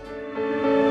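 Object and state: Nothing is struck.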